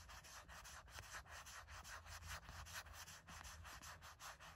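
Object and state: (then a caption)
Silicone phone case scratched with nails. Long nails scratch in quick strokes over the flat back of a gray matte silicone phone case with a heart print. The result is a steady run of soft, dry, brushy scrapes with a bright hiss and a low rumble beneath.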